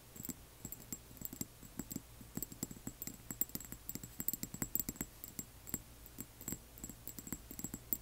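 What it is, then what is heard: Glass dropper bottle. Long nails tap rapidly on both sides of a small upright frosted amber glass dropper bottle filled with liquid. The result is a quick, irregular patter of sharp clicks with glassy high tones and a faint low hum underneath.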